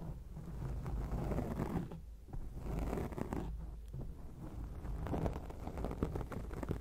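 Long acrylic nails on both hands scratch a black foam microphone windscreen. The result is a steady, low, rumbling rustle made of dense scratching strokes. Two brief dips in the sound fall near two and four seconds.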